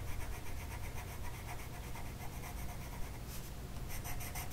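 A green colored pencil tip is rubbed back and forth across a flat printed mandala sheet of paper lying on a table and held down by one hand. The clip carries a soft, steady, rhythmic scratching of the lead on paper over a low background rumble, with brighter strokes toward the end.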